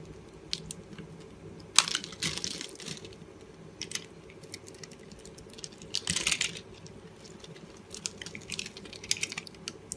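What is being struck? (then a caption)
Bar of soap. A box cutter blade cuts a grid of small cubes into a solid green and pink marbled oval bar of dry soap held in the hand, then scrapes them off so the cubes crumble away. Crisp, bright scratching and light crunching ticks run throughout, with two louder rustling bursts of scraping and crumbling. Each sound is dry and short, with almost no low end.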